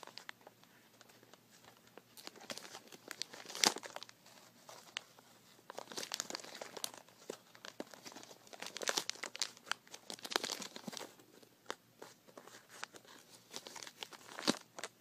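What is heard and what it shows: A small white plastic bag full of glass marbles, tied with red string, stands on carpet while fingertips twist the tie and crinkle its neck. Dense, bright crinkling comes in bursts of crisp, dry crackles across the whole clip. Fainter gaps fall between the bursts, and sharper snaps stand out near the start and end.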